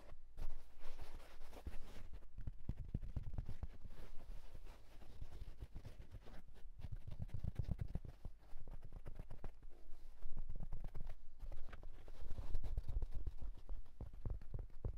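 A hollow wool tweed fedora resting on a bedsheet is handled and scratched with fingertips on its fabric crown. Quick, dense, muffled taps and rough scratching come through low and dull, with soft, rumbling bursts and brief pauses throughout.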